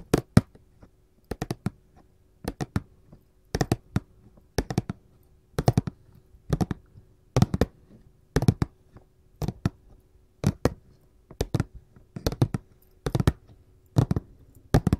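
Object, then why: Paperboard candy box tapped with metal claws. A glossy printed paperboard candy box is tapped and scratched with gold filigree metal claws. Quick clusters of sharp, dry taps come in regular bursts about once a second, each fading almost instantly. A faint steady hum sits underneath.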